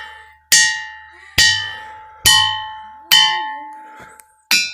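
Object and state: Ringing rock with bell-like tone.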